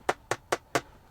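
Four light taps on a replacement plastic center console cover piece for a Tesla produce short, dry, hollow clicks with a mid-range tone around 730 Hz. Each tap dies away almost instantly, and the sound marks the piece as plastic.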